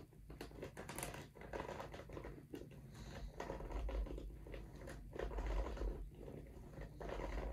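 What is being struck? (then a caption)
Rubber shoe outsole. Fingertips scratch and rub the nubbed tread of a studded rubber golf shoe outsole held sole-up, with the other shoe lying untouched beside it. Dry, crackly scratching strokes come in an irregular rhythm over a steady low rumble, growing slightly louder toward the end.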